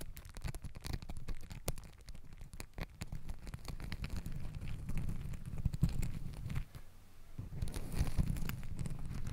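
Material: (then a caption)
Fabric. Long acrylic nails scratch and rub stacked pink and green glittery fabric hair ties (scrunchies) wrapped around a microphone. The result is a dense, soft, low-heavy crackling and crinkling texture with many quick scratchy ticks, easing briefly before swelling again near the end.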